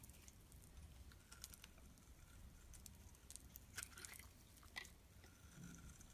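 A metal blade scrapes shavings off the surface of a solid oval black-and-white striped bar of soap held in the palm. The result is quiet, continuous scratchy rasping, with a low rumble underneath and brief bright crackly scrapes standing out above it.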